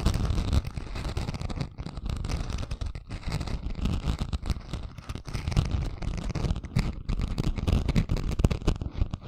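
A flat, thin craft sheet with a coarse gold and pink glitter surface is held in both hands above the microphone while long fingernails scratch its chunky glitter. The result is a continuous, rough scratching and crackling that sounds heavy and low, with a dull rumbling texture and quick gritty bursts.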